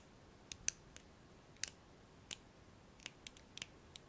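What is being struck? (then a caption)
Plastic hairbrush pins. A thumbnail flicks and plucks the black plastic pins of a blue hairbrush held upright. Short, dry, bright clicks sound at an uneven pace, each dying away instantly over a faint steady hiss.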